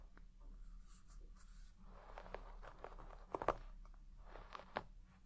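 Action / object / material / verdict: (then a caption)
scrape / deep-pile shag textile carpet brushed with a wooden-pin hairbrush / textile / none. A wooden-pin hairbrush with a wooden back is stroked through the fibres of a large red shaggy textile carpet with deep pile, brushing it. The strokes make a quiet, soft scratchy rustle centred in the mids, with a few sharper brush ticks standing out near the middle and end.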